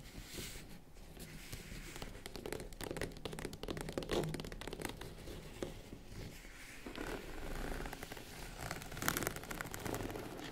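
Long acrylic nails tap and scratch the top of a small, hollow, box-like tan faux-leather zippered vanity case. The result is a dense run of quick, dry taps and scratchy scrapes with a soft, boxy low thud beneath them, at a fairly quiet and steady level with brighter bursts near the middle and end.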